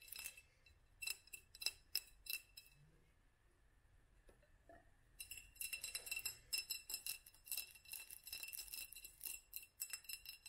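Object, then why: Small glass jar. Long fingernails tap and scratch a small hollow glass jar with a studded black band, held in both hands. A few sharp, bright clinks come first, then a quiet stretch, before the tapping and scratching turn into a dense, rapid run of high glassy ticks with very short ring.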